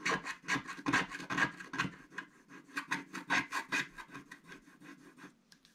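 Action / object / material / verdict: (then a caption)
scrape / black-coated scratch art paper card scratched with a wooden stylus / coated paper / none. A wooden stick stylus scratches across a flat black-coated scratch art card sheet, with coating flakes piling up on the table. A quick series of dry, bright rasping strokes sounds at an uneven rhythm, louder at first and growing softer toward the end.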